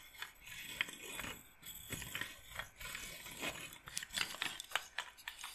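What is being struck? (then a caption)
Wooden bead massage roller. A wooden-frame bead massage roller with rows of wooden beads is handled and rattled with fingers and long nails. The beads give bright, ratchet-like clicks and dry rattles over a soft, continuous scraping, with short sharp clicks standing out near the end.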